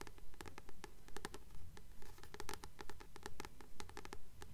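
Long nails scratch the glossy card front cover of a solid blue paperback book held upright, making a strong scratch sound. Dry, crisp scraping strokes with sharp clicky ticks repeat at a steady, regular pace of roughly two per second, each stroke short with almost no ring. A low rumble sits underneath.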